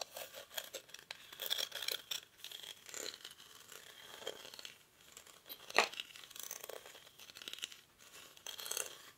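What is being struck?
Woven rattan basket.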